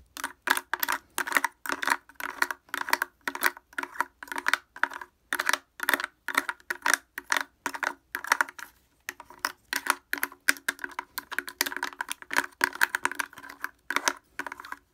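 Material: Plastic.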